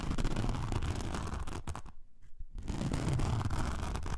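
Long nails scratch the gritty surface of a thin, flexible, blue-pink glitter foam craft sheet, about A4 size, lying on fur. The result is a dense, rough, low-heavy scratching that briefly drops to near quiet around the middle before resuming at full strength.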